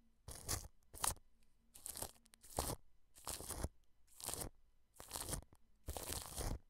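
A wide paintbrush sweeps across clear cling film wrapped over a white dome microphone, making eight separate bursts of crinkling and rustling. Each stroke is broadband and bright, with a heavy low thump from the film against the mic. Quiet pauses fall between the strokes.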